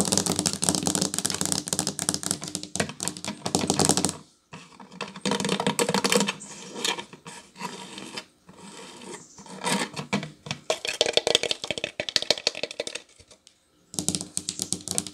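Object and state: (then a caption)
Wooden table edge trim tapped with nails. Long nails tap rapidly on the solid wooden edge strip of a tiled tabletop, making dense, bright, dry clicks with almost no ring. The tapping comes in quick bursts separated by brief pauses, some stretches softer and sparser than others.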